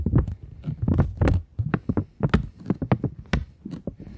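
Long nails tap and scratch across the face of a flat, taut polymer plastic £20 banknote. A rapid, uneven run of soft, dull taps and brief scratches follows, each short and low with little brightness, dying away almost instantly.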